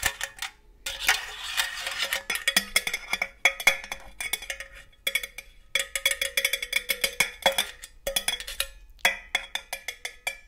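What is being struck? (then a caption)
Metal cookie tin. Long gold metal claw nails tap rapidly on the side and green lid of a hollow, red and green cylindrical metal cookie tin. The taps come in quick bursts separated by brief pauses, each a bright, tinny click with a short metallic ring around 2.2 kHz. There is almost no low end.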